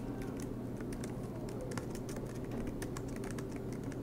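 Both hands type continuously with their fingertips on a silver MacBook Pro laptop, tapping its low-profile black plastic keys set in an aluminium body while it rests on a desk mat. Soft, bright key clicks patter in a quick, uneven stream over a steady low hum. The level stays even throughout.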